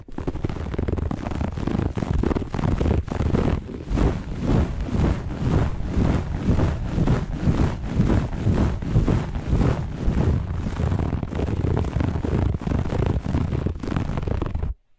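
Long nails on both hands scratch fast and hard across the pile of a flat looped grey-beige carpet. The result is a continuous, dense scraping rasp in rapid, uneven strokes, with a heavy low rumble under a bright hiss. It holds a steady level throughout, then cuts off abruptly at the end.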